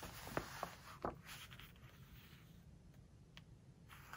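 A fingertip and nails rub and scratch along the glossy paper pages of a large open hardcover book, then the page is turned. Three sharp, bright scratches stand out in the first second, followed by softer, quieter rubbing and a faint papery rustle over a low background hum.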